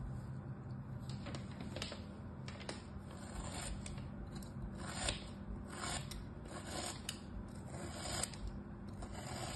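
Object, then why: Molded kinetic sand block. A small knife blade slices and scrapes through a molded crab shape of solid kinetic sand resting on a striped cloth, cut by a hand with orange nails. Soft, gritty crunching and scraping strokes come in repeated short bursts over a steady low hum, with faint bright hiss on top.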